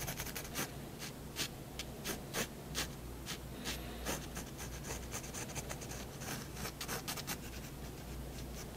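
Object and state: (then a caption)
Paper sheet. A 0.1 mm fineliner pen tip scratches continuous strokes across a large sheet of white drawing paper lying flat on a wooden desk, drawing the outline of a cat. Short, bright scratchy strokes come in quick bursts over a steady low hum.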